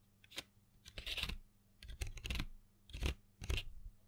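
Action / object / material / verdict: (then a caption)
scrape / cardboard box of colored pencils / cardboard / none. A small printed cardboard box full of colored pencils is held in hand and tapped and scratched with long fingernails. Soft bursts of dry, papery scratching with bright high hiss alternate with dull low taps, separated by short quiet gaps. The sounds stop quickly without ringing.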